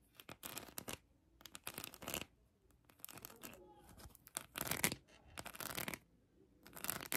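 A hand-sized plastic heart covered in colored acrylic rhinestones is scratched with long acrylic nails. Bursts of bright, crisp scratching sweep across the rhinestone surface, separated by short quiet pauses. Some strokes carry a faint clicking texture.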